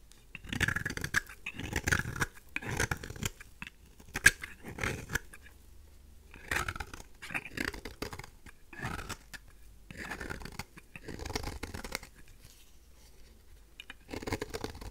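A thin oval slab of pink, solid dry soap held in the fingers is shaved with a craft knife blade. It gives a series of short, dry, crisp scraping strokes in bursts, with quiet pauses between them.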